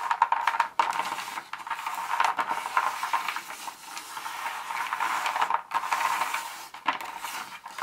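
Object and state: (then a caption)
Dark chocolate pieces. Very long acrylic nails on both hands tap and scratch through a pile of small, solid, thin broken dark chocolate bar pieces on a speckled countertop, pushing them around. The result is a dense, continuous stream of light clicks, clatters and scraping rustles, bright and mid-focused with almost no low end, swelling and dipping briefly as the nails move.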